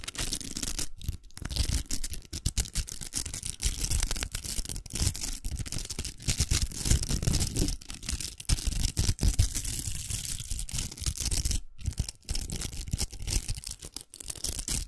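Long nails scratch the velcro on a large, hollow, pink plastic velcro hair roller that is held up. The result is a dense, rough, crackling rasp with a deep low rumble and a bright hiss, broken by a few brief pauses.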